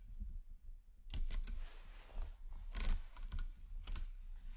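A hand snaps a chain of solid 10 mm nickel-plated magnet cubes and balls onto a metal magnet ring, producing repeated sharp metallic clicks. The clicks come in quick clusters after a quiet start, each short and bright over a low rumbling background.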